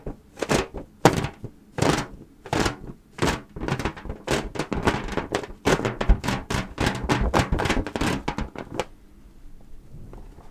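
Long painted nails tap rapidly on the surface of a fully inflated, hollow, air-filled mint-green latex balloon held in both hands near the mic. The result is a quick series of soft, hollow thunks with a short bright click at each strike. After about nine seconds the tapping stops, leaving only a faint low rustle.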